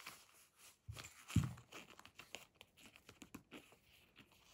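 A medium, hollow blue fabric pencil case with a printed beige faux leather front panel and badge is held, then set down on a table, giving two low thumps. After that, long nails scratch and tap the printed panel with short, dry scratches and light taps.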